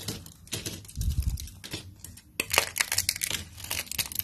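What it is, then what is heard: Dry soap strips. Fingertips with short manicured nails crush and snap a pile of thin, stiff, translucent amber soap strips and sheets. The result is dense, dry crackling and sharp snapping crunches that are bright and die away almost instantly, with a louder burst of crunching partway through.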